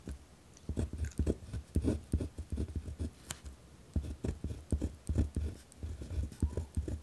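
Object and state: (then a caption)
Pen writing on a paper notepad. A pen tip scratches across a white lined paper pad resting on a wooden desk while writing. It makes a rapid series of short, rough scratching strokes with a dull, low-heavy body, separated by brief quiet gaps.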